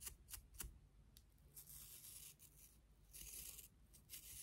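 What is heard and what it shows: Long nails scratch the bristles and handle of a pink and clear plastic toothbrush with colored bristles. A few sharp, bright clicks come first, then longer dry rasping bursts with a faint low rumble underneath, all quiet and close.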